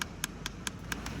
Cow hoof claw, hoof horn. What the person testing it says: a dull, low tapping noise